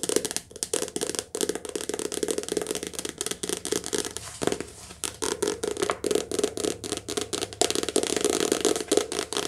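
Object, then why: Softcover paperback book with glossy card covers. A softcover paperback book with glossy card front and back covers is held in the hands and tapped and scratched fast with long nails. Rapid, dense clicky taps with a bright crisp edge sit over a hollow mid tone around 440 Hz, broken by a brief scratchy pause partway through before the quick tapping resumes.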